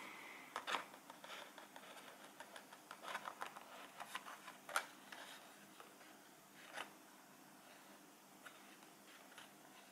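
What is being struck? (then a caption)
Small printed cardboard box. A small, full printed cardboard cheese box is held in the hands and tapped and scratched with fingertips and nails. Quiet, dry papery taps and scratches come in irregular bursts over a faint steady background hiss. Each sound dies away almost at once.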